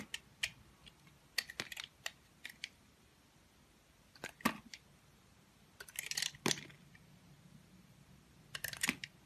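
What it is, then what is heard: Bar soap being carved. A box cutter blade shaves and carves thin curls off a solid, oval, palm-sized pink bar of soap held in one hand. Short, crisp, bright scraping and cutting strokes come in scattered bursts, some clustered close together, with quiet pauses between them.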